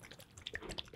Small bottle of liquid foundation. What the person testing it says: ela é tipo uma água parece uma água Gente eu nunca vi uma base tão tão líquida quanto essa